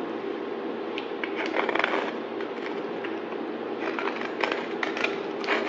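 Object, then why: Bar of soap. A palm-sized rectangular solid bar of white soap is held in the hand and shaved along its edge with a yellow-handled utility knife blade, peeling off white flakes. A steady, dry crackling scrape runs throughout, broken by sharper, bright ticks as the metal blade bites and the flakes break away.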